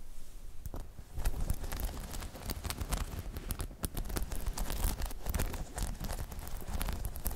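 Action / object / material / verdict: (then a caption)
scrape / hollow spiky rubber balance pod / rubber / none. Long chrome nails scratch across a hollow, dome-shaped spiky rubber balance pod, making a dense run of rough, crackling scrapes and quick ticks. The sound is steady throughout, with a heavy low rumble under brief bright scratchy bursts.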